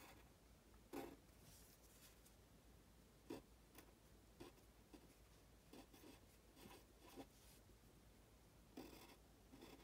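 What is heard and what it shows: A pen tip scratches across a thin printed paper worksheet in writing strokes, as if writing Chinese characters. Quiet, soft scratching runs throughout, with about six sharper, brighter stroke sounds standing out at irregular intervals.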